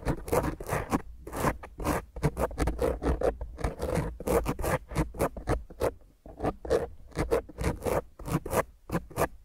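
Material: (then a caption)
Foam. Long grey fingernails on both hands scratch a black foam windscreen on a round microphone head quickly and roughly. The result is a dense run of close, rasping scrapes with a strong low rumble. The bursts come in rapid, uneven strokes that cut off sharply with almost no ring.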